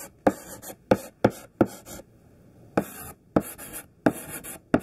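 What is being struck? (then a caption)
Thick sidewalk chalk on chalkboard. Chunky, solid pink sidewalk chalk held in the hand writes on a black chalkboard in coarse scraping strokes. Each stroke starts with a sharp tap, then a gritty, hissing scrape that stretches up into high, bright frequencies. The strokes come in an uneven series separated by short silences.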